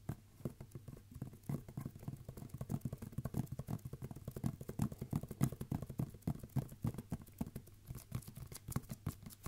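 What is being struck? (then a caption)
Roll of wrapping paper on a cardboard tube. Fingertips tap and drum on a red and silver roll of wrapping paper, a hollow tube held horizontally in both hands. The result is a quick, uneven patter of soft, dry, hollow thuds, low and muffled with a pitch around 145 Hz, each tap dying away almost instantly.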